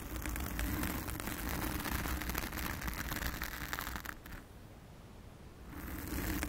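Long acrylic nails on both hands scratch a blue foam windscreen fitted over a round studio microphone. The result is a dense, continuous crackly scratching with a heavy low rumble and bright grainy rustle. It drops to a quiet pause near the end, then resumes.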